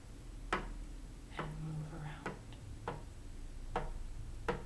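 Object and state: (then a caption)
Chess pieces tapped on a board. Chess pieces are tapped and moved from square to square on an opened chessboard, tilted as they go. Short, dry tick-like taps ring out at a steady pace, with a faint scraping murmur between two of them, over a low background hum.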